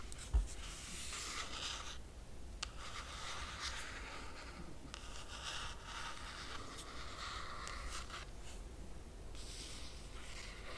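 Long nails trace and scratch across the laminated cardboard cover of a closed hardcover book. After a sharp tap near the start, a steady, bright scratching hiss runs throughout, with short pauses between strokes, over a low constant hum.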